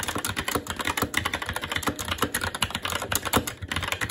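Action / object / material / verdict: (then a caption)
tap / mechanical keyboard with plastic keycaps on a metal plate / plastic / none. Continuous fast typing with the fingertips of both hands on a SteelSeries Apex 7 TKL mechanical keyboard with plastic keycaps on a metal top plate and Red linear switches. A rapid, steady stream of short, crisp clacks with bright edges and a light low thump beneath, each keystroke dying away almost instantly.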